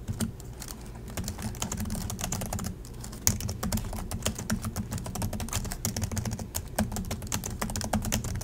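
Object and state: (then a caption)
Plastic laptop keyboard being typed on. Both hands type steadily with their fingertips on the black plastic chiclet keys of a silver Acer laptop resting on a desk in dim light. The result is a dense, continuous run of quick, dry clicks and taps with little ring, riding on a low steady hum with bright key edges.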